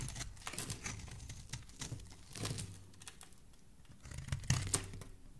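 A solid pink bar of soap is held in the hand while its edges are shaved with a metal utility blade. Quiet, crisp scraping and crinkling strokes repeat throughout, with the last few shaves standing out louder near the end.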